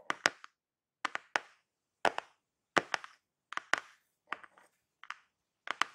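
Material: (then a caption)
Cardboard. Fingertips and long painted nails tap and scratch the top of a closed, hollow-looking, flat black glossy-printed cardboard product box with a blue network pattern, lying inside a shipping box. About 15 short, crisp, clicky taps come in quick pairs and triplets. Each tap has a bright mid-high tone and dies away almost instantly, with silence between the clusters.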